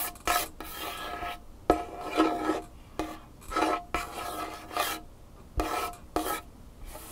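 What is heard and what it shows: Fingernails and fingertips of both hands scratch and tap across a large, solid varnished wooden tabletop. Rasping bursts of scratching alternate with sharp, quick taps that die away almost at once, with a faint ring near 700 Hz.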